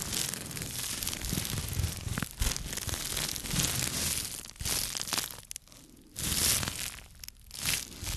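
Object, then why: Small microfiber cloth. Fingertips rub, scratch and crumple a small light-blue microfiber cloth held up in the hands. The result is a dense, bright, scratchy rustling and crinkling with soft low thumps underneath, continuous for most of the clip. It briefly quiets in short dips before swelling again.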